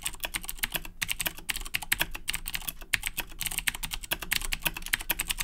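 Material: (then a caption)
Plastic. Fingertips type rapidly on the plastic keycaps of a black Razer BlackWidow 2010 Edition mechanical keyboard with clicky Cherry MX Blue switches. A fast, steady stream of sharp, bright clicks comes through, each keystroke short and crisp with almost no ring, over a faint low rumble.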